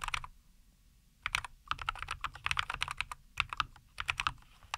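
Both hands type with their fingertips on a compact 75% NuPhy Air75 V2 mechanical keyboard with linear Cowberry switches, a white case and green and white plastic keycaps, resting on a wooden desk. A short burst of keystrokes is followed by a brief pause, then steady, quick typing resumes. Each press is a crisp, bright plastic clack that stops dead with no ring.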